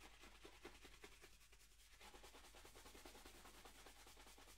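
A hollow, empty black leather dress shoe is held in one hand and brushed along its leather upper with a wooden-backed horsehair brush. Quick, steady rubbing strokes of about two and a half per second make soft, bright bristly swishes over a faint low rumble, all at a quiet, even level.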